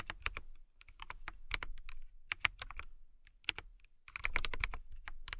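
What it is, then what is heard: Acrylic mechanical keyboard typing. Long manicured nails and fingertips type on a KiiBOOM Phantom 81, an RGB-lit mechanical keyboard with a hollow transparent acrylic case and clear keycaps. Quick bursts of crisp, bright clacks with a low thock beneath them stop dead, separated by brief pauses. A denser flurry of keystrokes closes the clip.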